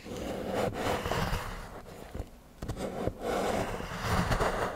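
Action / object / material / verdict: scrape / milk chocolate bar scraped with a steel knife / chocolate / none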